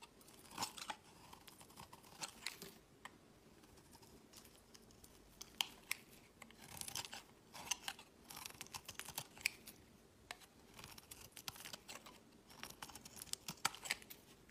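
A solid, palm-sized bar of white soap is held in the hand while a box-cutter blade shaves curls from its corner, dropping the shavings onto a woven mat. Bursts of dry, bright scraping and crisp cutting repeat through the clip, separated by near-quiet pauses.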